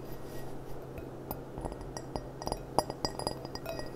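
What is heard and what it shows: Long painted nails tap around the stem and base of a small, clear, gold-rimmed glass goblet that stands empty and upside down on a cloth. About eleven light, quick clinks sound at an uneven pace, each brief and bright with almost no ring, over a steady low hum.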